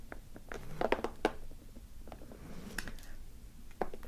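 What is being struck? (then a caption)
Sealed plastic film ration pouch. Very long black nails tap and scratch across a large, flat, sealed and filled green camouflage-printed plastic-film MRE ration pouch lying on a wooden table. Short, dry crinkly taps and soft scrapes sound with bright clicks, with a few sharper taps standing out near the start and end.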